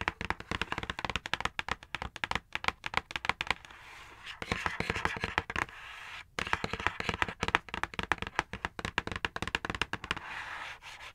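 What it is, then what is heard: Cardboard box. Long acrylic nails tap and drum on the flat front face of a dark printed cardboard box for a knife and cutting mat set, held upright. Quick, crisp, dry clicks come in rapid bursts, broken by stretches of softer, steady scratchy rubbing and a brief silent gap. The taps have a bright, hollow papery tone with almost no ring.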